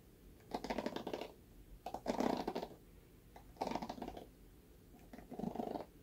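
Fingertips and nails scratch and run over the black bristle pad of a red plastic paddle hairbrush. Four separate bursts of dry, crackly rasping are heard, each about a second long with quiet gaps between, and they carry bright ticking edges above a denser mid-range scrape.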